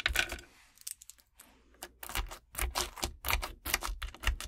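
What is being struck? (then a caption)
Clear slime packed with gel water beads. Long decorated acrylic nails scratch and tap into a flat sheet of clear crunchy slime packed with colorful gel water beads lying on a wooden table, then fingertips press it flat. Sharp, bright crackling clicks and pops come in bursts, with a quieter stretch of faint crackle near the start before denser, louder crunches follow.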